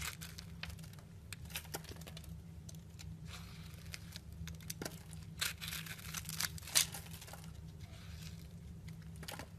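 A utility knife blade shaves and scrapes thin curls off the top of a round, solid soap bar with a purple outer layer and a pink swirled core, held in the hand. Crisp, bright crinkling scrapes come in quick bursts, with sharper peaks near the middle, over a steady low hum.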